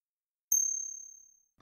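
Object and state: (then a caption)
Counterfeit silver eagle coin. A counterfeit silver eagle coin, the same size and weight as a genuine one, is tapped once and gives a bright, high ring that fades over about a second. Its resonance frequencies do not match those of a genuine silver eagle, showing the coin is a fake.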